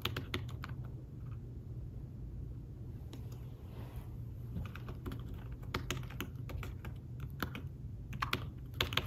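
Fingertips tap the keys of a thin fabric-covered tablet keyboard case while typing, producing soft, short, dry clicks in irregular bursts. A steady low hum sits underneath the brighter taps throughout.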